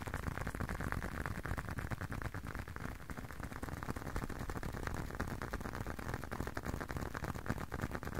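A closed, hand-sized blue leather long wallet is tapped with fingertips and short nails. The result is a fast, steady stream of soft, dull, irregular taps with a low, muffled body and almost no ring or bright edge.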